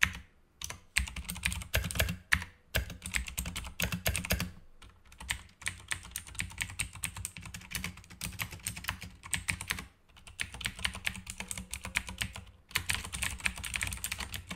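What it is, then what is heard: Plastic mechanical keyboard being typed on. Fingertips type, sometimes with one hand, on a black backlit Razer mechanical keyboard with plastic keycaps. The result is a long run of quick, sharp key clicks with a bright, clacky top and a low thud beneath. The bursts of fast typing are broken by a few brief pauses.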